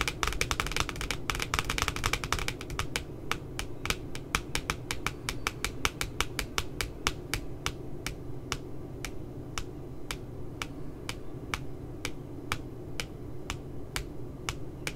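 Long glittery nails tap on both sides of the glossy cardboard front cover of a spiral puppy notebook. A fast flurry of crisp, bright clicks gradually slows into evenly spaced, sharp taps that die away instantly, over a steady low background rumble.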